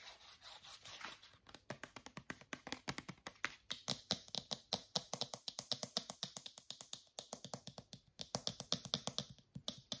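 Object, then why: Small plastic shampoo bottle. A small white plastic shampoo bottle with a blue flip cap is tapped with fingernails on its body and cap. It makes a long run of fast, crisp, bright clicks that stop short with almost no ring. After a softer, blurred start, the taps stand apart clearly for the rest of the clip.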